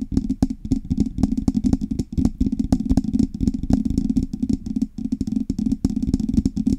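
Long red nails on both hands tap and scratch the hollow, painted metal body of a silver Blue Yeti microphone with knobs. The result is a rapid, irregular stream of short clicky taps and scratchy rustles over a low, hollow resonance, each tap dying away almost at once.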